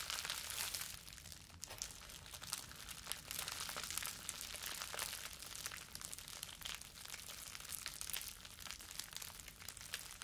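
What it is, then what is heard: Plastic bubble wrap. Balled-up clear plastic bubble wrap is held in both hands and crumpled with the fingers. It makes a dense, continuous crinkling and crackling that stays bright and fairly quiet for about ten seconds, with small sharp snaps throughout and little low end.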